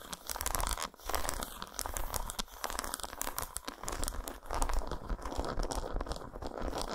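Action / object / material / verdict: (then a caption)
scrape / dark chocolate bar / chocolate / none. Long nails scratch and tap the squares of an unwrapped solid dark chocolate bar lying patterned side up. The result is a dense, crackly run of fast scratches and sharp little taps over a steady low rumble, with bright clicks throughout.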